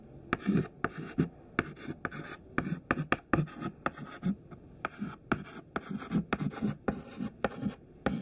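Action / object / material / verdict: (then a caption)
scrape / chalk stick on a chalkboard / chalk / none. A thin stick of white classroom chalk, held in the fingertips, writes words on a large flat black chalkboard. Short, dry scratching strokes and sharp taps come in quick, irregular bursts, with a gritty low-mid body and brief bright clicks as the chalk meets the board.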